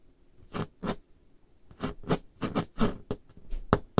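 Painted nails tap and scrape across a large, solid, dark-stained wooden table top in an irregular series of short, dry bursts. Each stroke carries a soft low knock under a bright, scratchy rasp that dies away almost instantly.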